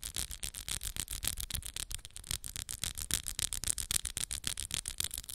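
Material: Acrylic.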